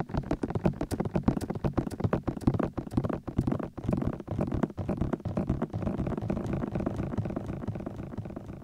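Fingertips and thumbs tap quickly on the edges of both soft white silicone ears of a 3Dio binaural microphone. The result is a steady stream of rapid, muffled, low-heavy taps with brief bright clicks, each dying away almost instantly.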